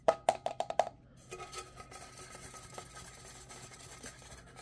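A hollow, dark green plastic travel tumbler with a metal band and lid, held in the hands, is tapped with fingernails in six quick, hollow knocks. The taps have a woody, mid-pitched tone and stop almost at once. Softer, irregular clicks and handling noises follow.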